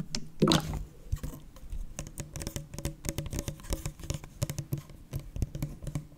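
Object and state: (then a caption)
Full plastic drink bottle. A full Prime plastic bottle is held upright while fingertips and nails tap quickly on its ridged plastic sides. The result is a steady, light patter of short, dry clicks with a dull, hollow low body and a brief brighter scrape near the start.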